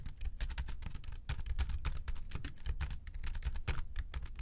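Fingertips type quickly on the plastic keys of a slim white keyboard resting on a desk. A dense run of short, dry clicks with a low thump under each stroke and bright key chatter above.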